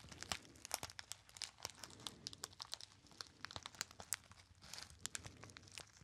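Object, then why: Small metallized foil pouch. A small, hollow, apparently empty gold metallized foil pouch is crinkled by fingertips. The clip is a steady, dense crinkling with many sharp, bright crackles and little low end. It stays fairly quiet and close throughout.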